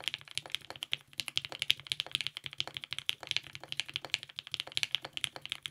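Continuous two-handed fingertip typing on a compact TGR 910 RE mechanical keyboard with lubed 55g Nixie switches, a polycarbonate plate and purple GMK ABS keycaps. Rapid, crisp clacks follow one another with almost no low end and no ring, centered on a bright tone around 3.3 kHz.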